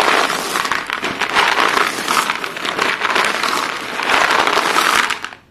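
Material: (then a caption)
Chalk. Hands push and scoop a pile of short, solid white chalk pieces on a blue surface, the pieces rubbing and crunching together. A dense, continuous gritty crackle fills the mids and high end with no low rumble, swelling louder around the middle and again near the end before fading out.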